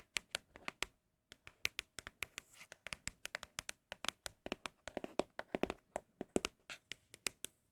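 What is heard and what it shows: Fingers tap quickly on empty cardboard Apple product boxes in a steady run of dozens of short, dry, bright knocks, with a brief pause near the one-second mark. Each tap dies away almost instantly, leaving a faint hollow tone around 600 Hz. The taps are quiet and crisp, and the boxes are said to sound especially good.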